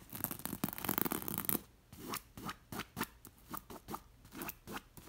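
Long nails scratch and trace along the beaded lines of a square, soft throw pillow with a beige linen cover embroidered with red and gold glass seed beads. Dense, continuous, bright scratching fills the first second and a half. It then breaks into a series of short, separate rasping strokes with brief quiet gaps between them.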